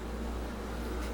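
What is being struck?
Nothing is struck.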